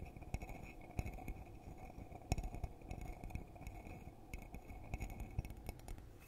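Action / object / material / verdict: tap / glass coffee mug / glass / none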